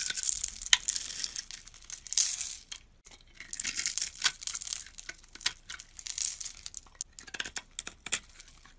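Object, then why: Bar of soap. A metal utility blade scrapes across a solid green soap bar that has been pre-scored into a grid of small cubes, crumbling the cubes off. The sound is a bright, crisp, crackling scrape with sharp little clicks and rustles, coming in short bursts with a brief pause near the three-second mark.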